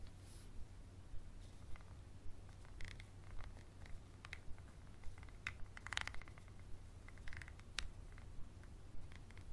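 A small textured glass bottle with a paper label and black cap, held on its side, is scratched and tapped with a wooden pencil and fingernails on the glass. About eighteen short, sharp clicks ring out near 1.9 kHz over a steady low rumble. The taps fall at a loosely even pace of roughly two per second.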